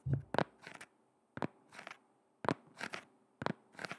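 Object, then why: Shoe with rubber sole. A black shoe with a rubber sole is held near the microphone and its sole is tapped and scratched with long red nails. Four times in a row, a couple of sharp, dull taps are followed by a brief dry, crackly scratching burst, with quiet pauses in between.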